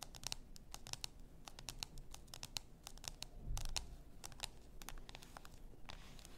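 Long nails tap and scratch the shoulder near the neck of a full bath salt bottle, likely glass. A rapid, uneven series of short, bright clicks rides over soft scratching and a low rumble, with a brief louder scrape around the middle.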